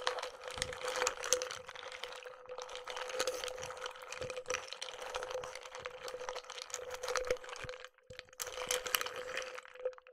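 A wooden stick stirs a clear, hand-sized glass mug nearly full of pistachio shells and nuts in water while the other hand holds the handle. The shells clatter and crackle densely against the glass wall, with bright, wet clicks over a steady glassy ring near 500 Hz. The stirring runs continuously, briefly dropping off near the eighth second before picking back up.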